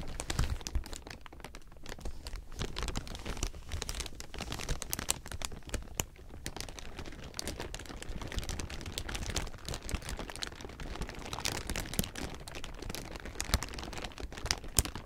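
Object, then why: Thin clear plastic film. A large heap of thin, clear plastic sheeting is crumpled with both hands, giving a dense, continuous crinkling of sharp, bright crackles. The crinkling rises and falls in bursts over a steady low rumble, and each crackle stops almost instantly.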